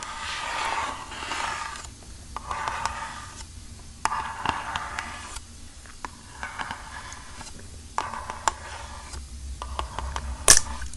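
Long painted nails scratch and tap the sides of a hand-sized, hollow strawberry-print eco bamboo-fiber canister held upright. Bursts of dry, rasping scratches alternate with sharp, hollow taps that ring briefly, with a brighter click near the end.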